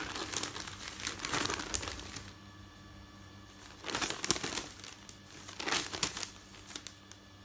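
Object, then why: Folded stack of newsprint paper. Hands fold, press and lift the pages of a folded stack of thin printed newsprint resting on a bed, making bright, dry crinkling and rustling. The sound comes in three bursts, with quieter pauses between them, over a faint, steady low hum.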